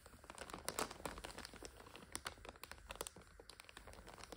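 Long nails tap and scratch the clear plastic overwrap on top of a full five-pack of instant noodles. The result is a dense, quiet run of crisp crinkles and sharp ticks with almost no ring, spreading up into bright highs.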